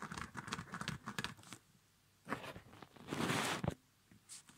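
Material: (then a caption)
Nylon. Fingertips tap and scratch the rubber badge on a small, empty child's winter snow boot with a quilted, padded nylon upper, then rub the nylon. A quick cluster of soft taps and scratchy patters comes first, followed by a brief near-silence. A louder, bright swishing rustle from rubbing the padded upper follows, ending in a few faint scrapes.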